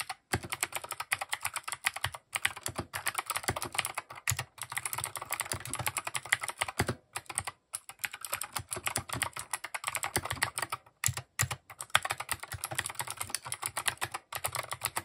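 Fast fingertip typing on a compact plastic mechanical keyboard with cream, grey and orange plastic keycaps. Quick, bright, clacky keystrokes with short, dry decay run in dense bursts, broken by brief pauses.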